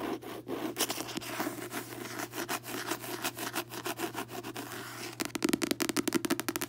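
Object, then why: Paperback book with glossy card cover. Long fingernails rub and scratch across the glossy card front cover of a closed paperback book, making dry, papery scraping strokes. The clip ends in a quick run of crisp nail taps on the cover.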